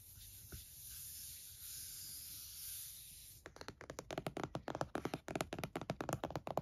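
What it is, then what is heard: Laptop in plastic hard-shell case. A closed laptop in a purple plastic hard-shell case rests on a towel while one hand taps and drums fingertips and nails on the lid. After about three seconds of steady, bright hiss with a single faint tap, a quick run of about twenty short, dry, hollow plastic clicks follows, centered around 640 Hz and each dying away almost instantly.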